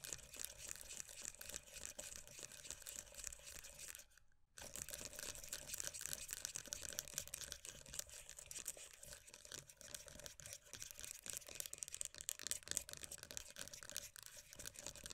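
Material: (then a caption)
Plastic. Long acrylic nails tap and scratch quickly across the printed lid and sides of a closed, full, hand-sized round plastic moisturiser tub. The result is a dense stream of bright, crisp clicks and scratchy rasps with a high edge. There is a brief near-silent pause a little past four seconds before the tapping resumes just as busily.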